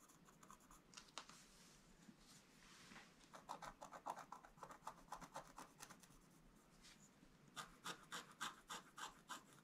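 A wooden stylus scratches short strokes across a flat black-coated scratch-art page, making quiet, dry, bright scraping sounds. The strokes come in uneven bursts with brief pauses, and the later ones are sharper and louder.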